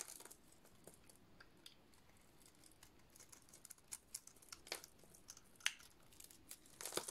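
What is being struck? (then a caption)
Painted soap bar shaved with a metal blade. A metal utility-knife blade shaves flaky white curls from a dry, hand-sized solid white soap bar with a blue-dotted black painted coating. Quiet, bright, dry crinkling and scraping crackles run throughout, with sharper crisp snaps standing out in the second half and a denser burst of crackling at the very end.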